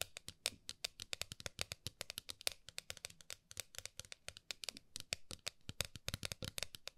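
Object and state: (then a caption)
Metal tin tapped with fingernails. Long nails rapidly tap and scratch the lid of a flat, round gold metal tin held horizontally. The result is a dense run of sharp, bright clicks and scrapes with almost no ring, over a faint low background.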